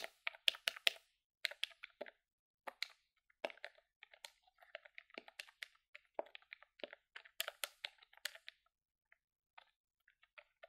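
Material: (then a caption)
Plastic. Long fingernails rapidly tap the colored keys of a hollow grey plastic desktop calculator held in the hand. The result is a quick, irregular run of sharp, bright plastic clicks with almost no ring and no low end, thinning out into sparser taps toward the end.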